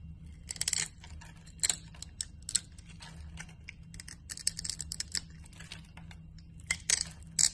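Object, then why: Glycerin soap bar shaved with a knife blade. A utility knife blade shaves a solid yellow translucent glycerin soap bar into thin translucent flakes. Each cut makes a quick, bright, crisp scraping crackle, repeated irregularly with brief pauses and a few sharper, louder strokes near the end. A faint low hum runs steadily underneath.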